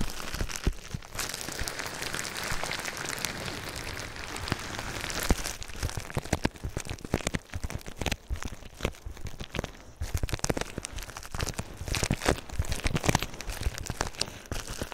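A sheet of clear plastic bubble wrap wrapped around a binaural microphone is rubbed and scratched with fingertips and nails. The result is a dense, continuous crinkling and rustling, like rain on a surface, full of sharp crackles and clicks. Softer scraping passages alternate with busier bursts of crackling throughout.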